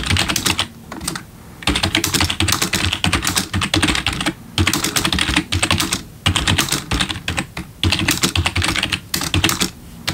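Both hands type quickly with their fingertips on a black plastic RGB backlit computer keyboard. Rapid, bright clacking keystrokes come in dense bursts, separated by brief pauses, with low thumps from the keys bottoming out under the sharp clicks.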